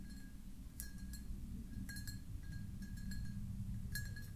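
Long nails tap the star-patterned base and ribbed sides of a hollow, empty, clear pressed-glass jar held in the hands, making light, irregular glassy clinks. Each tap rings briefly with a bright tone near 1.6 kHz and a higher shimmer above it, over a steady low rumble.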